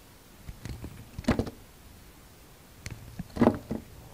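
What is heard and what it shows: A utility knife blade carves a hand-held, solid, dark grey-brown translucent soap bar, shaving and scraping off thin curls. Two main bursts of dry, muffled scraping are heard, each with soft clicks and ticks around it. Quiet pauses fall between them, and the sound is mostly low and mid with almost no high content.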